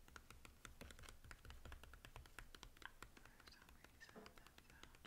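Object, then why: Plastic DVD keep case. A Scooby-Doo DVD in a hollow plastic keep case is held upright and tapped on the front with the fingertips, giving a quiet, rapid run of short, dry clicks with a slight hollow knock. Other DVDs lie on the table nearby but are not touched.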